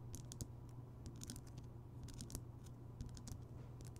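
A large, rounded, solid Himalayan rock salt lamp, lit, is tapped and scratched around its rough surface by fingertips and nails. Quick, bright clicks and scratchy ticks come in an irregular run over a steady low hum near 100 Hz. Each tap dies away almost at once.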